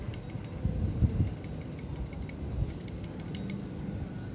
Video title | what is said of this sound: Toyota HiAce Commuter Tensioner Pulley Problem (Maingay at may lagitik ang bearing) | pagka inalog pa siya, meron siyang parang umaalog sa loob